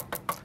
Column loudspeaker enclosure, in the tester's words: không hề có những cái tiếng kêu lạ lùng nào bất kỳ luôn cả mình gõi tác động vật lý như thế này luôn Nó rất là im